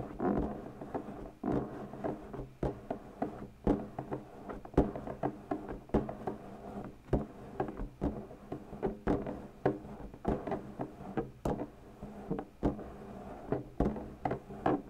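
Long pointed natural nails tap on and scratch the stretched latex of an inflated purple latex balloon, hollow and air-filled. Soft, hollow thumps come in an irregular stream, each with a short low-mid resonance that dies away quickly. A dull, muffled rubbery scratching fills the gaps between them.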